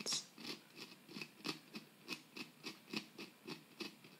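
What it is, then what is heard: Plaster block being chipped with a metal pick. A metal pick scratches and chips into a solid plaster dig-kit block, loosening powder and crumbs. Fourteen short, bright, dry scraping strokes come in a quick, uneven rhythm, each fading almost at once.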